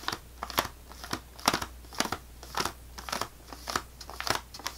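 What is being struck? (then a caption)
Sleeve of crackers in thin plastic wrap. Long nails tap and scratch the top of a full sleeve of saltine crackers in thin plastic wrap resting on a table. The result is a quick series of sharp, crinkly plastic ticks and scrapes with a bright, crackly texture and almost no ring between them.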